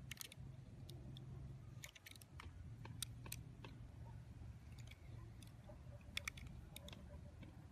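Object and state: Bar of soap being shaved.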